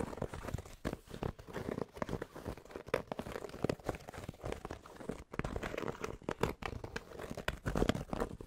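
Fingertips scratch rapidly across the embroidered front panel of a grey cotton Penn State baseball cap held to the side. The result is a dense stream of dry, crinkly scratching with quick dull taps, weighted toward the low and mid range with little brightness.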